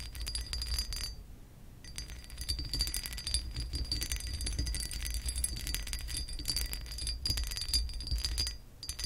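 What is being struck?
Pressed glass lamp base.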